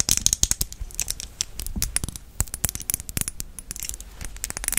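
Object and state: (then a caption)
Glass perfume bottle tapped with nails. A red glass perfume bottle with a gold cap, full of liquid and held in the hand, is tapped with long nails on the glass. The result is a fast, irregular run of short, bright clicks and ticks with very little ring, some landing softer and duller than others.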